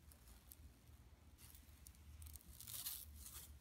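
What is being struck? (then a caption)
Woven plastic mesh bag. Long nails scratch with both hands across a large, flat, empty yellow woven plastic mesh tote bag resting on carpet. Quiet, irregular bright scratching bursts rise and fall over a low, steady rumble and grow louder toward the end.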